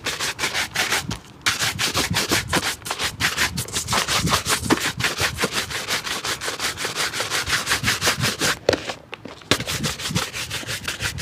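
A hollow, empty dark leather shoe held in the hand is scrubbed with a wooden-handled bristle brush in rapid strokes. Quick, bright, scratchy brushing rubs repeat steadily, with short pauses near 1.3 and 9 seconds.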